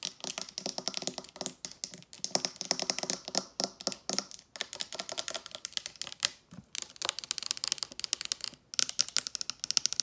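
Long nails tap rapidly on a dark glass liquor bottle with a paper label and a gold cap, held in one hand, striking both the glass and the cap. The taps are quick, bright, dry clicks that stop almost instantly, coming in dense bursts separated by brief pauses.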